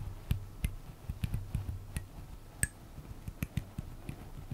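A small, flat, solid light-wood comb with fine teeth is held in both hands close to the microphone while fingertips and nails strum and scratch across its teeth. About ten short, dry ticks and clicks sound at an uneven pace, each with a soft low thump and a faint bright edge that dies away almost instantly, over a quiet, close background.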